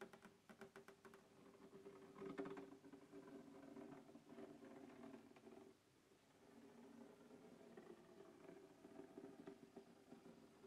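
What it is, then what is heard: Plastic carrying case. Fingertips scratch and tap the lid of a closed black textured hard plastic case resting on a wooden table. A quick run of soft, light taps opens the clip, then gives way to a steady dry scratching with a hollow mid-low tone. After a brief near-silent pause partway through, the scratching resumes, all at a quiet, close level.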